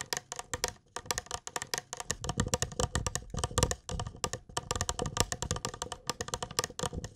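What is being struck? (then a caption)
Small glass mug. A small, hollow, apparently empty clear glass mug or jug with a handle is held close and tapped with fingertips and nails. Rapid, irregular taps give bright clicks over soft low thumps, each dying away almost at once with little ring.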